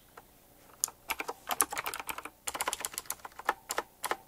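Fingertips type quickly on a full-size typewriter-style mechanical keyboard with round black plastic keycaps, chrome-look rims and a metallic frame. After a near-silent opening, a rapid run of sharp, bright clicks and clacks follows, each dying away almost instantly with no low-end thump.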